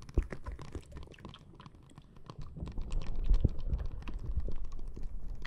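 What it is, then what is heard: Plastic bag of water beads. Long nails tap and scratch the surface of a flat, clear plastic bag full of small red water beads resting on top of the microphone. The result is a dense, irregular stream of soft, dull clicks and squishy scratches, heavy in the low end, that quiets for a moment and then grows louder and busier through the second half.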